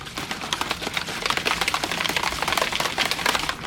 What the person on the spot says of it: So after a little while when you shake it, there's nothing. Now you hear it. They got a ball in here.